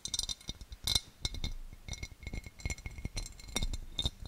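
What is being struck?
Cut glass serving dish.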